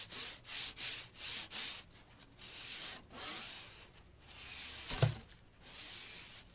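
A kinetic flow ring toy made of many thin, hollow-looking steel strips is held and turned in both hands with long nails close to the microphone. The strips slide and rub against each other in a series of bright, hissy rubbing swishes, with light metallic clinking and one sharper click near the end.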